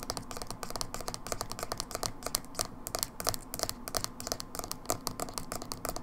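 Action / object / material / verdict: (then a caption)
tap / small plastic jar with lid / plastic / none. Long acrylic fingernails rapidly tap and scratch a small, hollow, dark blue plastic Manic Panic hair dye tub with a black lid and paper label. The result is a dense run of short, dry, bright clicks mixed with scratchy rubbing, with each tap dying away almost instantly.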